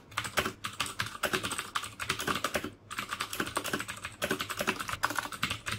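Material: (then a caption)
Plastic. Fingertips type quickly on the keycaps of a black plastic mechanical keyboard with clicky Cherry MX Blue switches. A steady stream of sharp, bright clicks and clacks is heard, with very short decay. Brief pauses break up the bursts of keystrokes.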